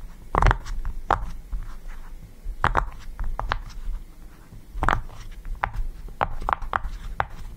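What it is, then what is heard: Silicone pop-it fidget toy. Fingertips press and pop the bubbles of a yellow, round silicone push-pop fidget toy resting on a table. The result is a series of soft, short, dull pops and light squeaks, spaced unevenly over a quiet low background hum.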